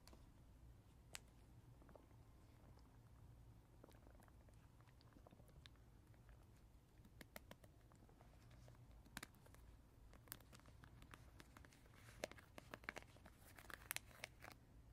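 A hand-held, hand-sized blue teether ring made of translucent, textured plastic segments that appear water-filled is tapped and scratched with natural fingernails. Quiet, soft scratching sits over a steady low hum, broken by short, sharp, bright clicks. The clicks grow more frequent and louder toward the end.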